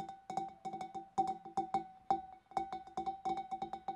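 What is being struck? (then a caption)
Large clear glass fish bowl. Long dark nails tap the neck and rim of a large, empty, hollow clear glass fish bowl from above in a quick, uneven run of about 22 light taps. Each tap is a short, bright glassy click with a clear ringing tone near 780 Hz that dies away almost at once.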